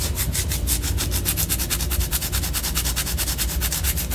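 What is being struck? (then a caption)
Wax pillar candle. A white solid wax pillar candle, held sideways, is scratched with long orange nails in a rapid, continuous run of bright, raspy strokes. A steady low hum sits underneath the scratching.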